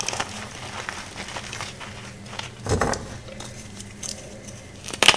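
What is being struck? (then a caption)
Gym chalk block. A soft, solid green gym chalk block made of magnesium carbonate is crushed and crumbled into powder by bare fingertips and long nails on a white surface. The sound is a steady, bright, dry crackling and crumbling, with louder crunching bursts near the middle and at the end.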